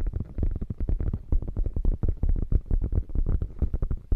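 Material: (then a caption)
Faux leather. Long nails scratch rapidly across the padded top panel of a beige quilted faux leather bag. The result is a dense, irregular run of soft, muffled scrapes and thumps, mostly deep and low with little brightness, each stroke dying away almost at once.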